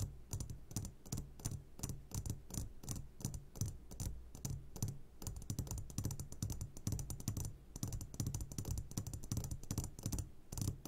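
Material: Glass.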